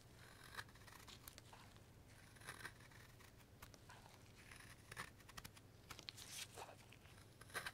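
A steel Marttiini knife shaves the corners of a pale, solid light wooden carving block held in a gloved hand, using carving strokes. Short, crisp, bright scraping rasps come at irregular intervals over a quiet, steady low hum, with the loudest strokes near the end.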